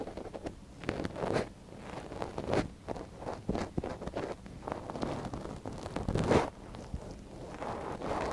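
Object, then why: Silicone ear of a binaural microphone scratched with a thin wooden stick. A gloved hand holds the soft silicone ear of a binaural microphone while a thin wooden stick scratches inside the ear canal. The result is close, muffled scratching and rustling that swells and fades, with a louder scrape burst near the end.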